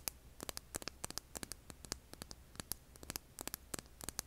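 A hand-sized solid rough rock held over an earbud mic is scratched with long nails, giving rapid, irregular clicks and scrapes. The sharp, bright transients fall over a faint low hum and static, and each one dies away almost at once.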